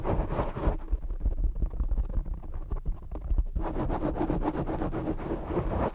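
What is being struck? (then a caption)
Foam microphone windscreen. Short nails scratch and fingertips tap the black foam windscreen on a desktop microphone, making a dense, close, low-heavy rustle with soft thumps. The scratching dulls in the middle, then returns brighter and scratchier for the final seconds.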